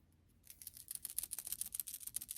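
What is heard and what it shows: A metal Gambler screw-in fishing weight with a built-in rattle is shaken by hand. After a brief quiet moment, it gives off a quick run of about 13 faint, bright, dry clicks as the rattle inside knocks back and forth.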